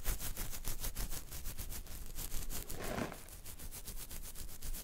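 Fingertips and nails scratch along the jawline through a full beard covering the chin and neck. The result is a steady run of quick, dry, rasping strokes over a low rumble, with a brief softer swishing pass near the three-second mark.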